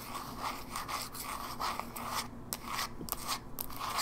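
Long nails scratch and rub the lid and edges of a closed, small, hollow silver plastic Game Boy Advance SP held in one hand. The result is a series of quick, uneven, bright scratchy strokes with a hollow plastic tone around 1.2 kHz.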